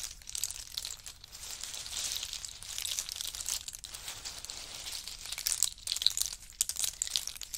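Fingers stir through a heap of pistachios still in their hard shells and drop handfuls back onto the pile. The result is a continuous, bright clattering and crinkling, with sharper clicks and rattles standing out toward the end.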